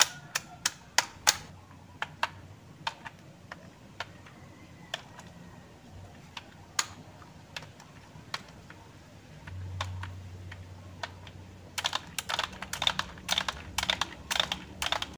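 Fingertips of both hands tap and type on the hollow keys of a black plastic A4Tech full-size keyboard. Sparse, sharp, bright clicks come first, then a quick, dense burst of typing near the end, with a faint low hum underneath.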